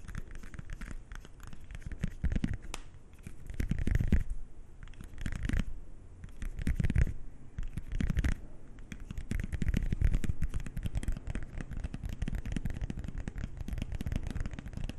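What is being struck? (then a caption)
Thin coated-paper playing card. A single thin, small, flat coated-paper playing card, the six of hearts, is held in both hands and scratched and bent with fingernails and fingertips close to the microphones. It makes dense, rapid, dry scratching and crinkling with a heavy low rumble from the close handling. The sound swells into louder bursts around 4, 7 and 10 seconds before settling back to steady scratching.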